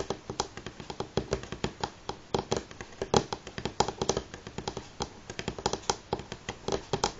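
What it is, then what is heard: Wooden tabletop, fingernail tapping. Fingernails of both hands tap fast on a solid light pine tabletop, producing an uneven, continuous run of short, dry clicks. Each tap has a woody knock in the low mids with a bright tick on top, and it dies away almost instantly.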